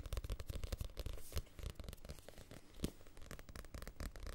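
Fingertips tap and scratch the page edges of a small paperback book with a glossy card cover, then move to the front cover. Quiet, rapid, dry taps and papery scratching come through with a soft low thump and little ring, plus a few brighter scratchy bursts.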